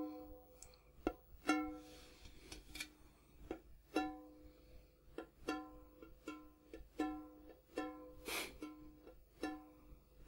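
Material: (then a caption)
Sheet metal. Fingertips and nails tap the outside wall and gold-coloured base of a large, empty, hollow printed metal popcorn tin with a gold interior, held close. About eighteen quiet, separate taps each give a short, bell-like metallic ring with a clear pitch near 305 Hz and stacked overtones. A couple of bright, brief hissing bursts sound between them.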